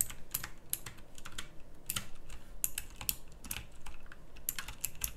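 Fingertips type across a full-size backlit pink mechanical keyboard with round plastic typewriter-style keycaps. Quick, bright clicky keystrokes come in uneven bursts over a steady low background hum, each click dying away almost at once.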